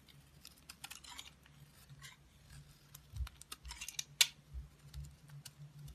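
A green-handled utility blade cuts and scrapes slices from a solid black soap bar held in the hand. A series of short, crisp, bright scraping strokes sounds over a faint low steady hum, with one sharper, louder cut near the end.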